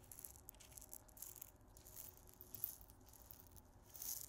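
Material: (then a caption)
Glass, salt. A small clear glass salt grinder with a black cap, full of pink salt crystals, is turned and shaken in the hands. The crystals give a quiet, bright, hissing rattle in soft bursts, with a low rumble underneath, peaking sharply mid-clip and swelling again near the end.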